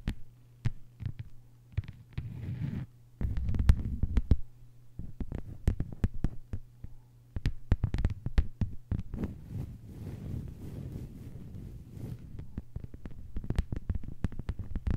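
Long white-polished fingernails of both hands tap a thin, flat lime-green plastic cutting mat lying on a table. Quick, dry, low thumps come in dense bursts with almost no ring, over a steady low hum.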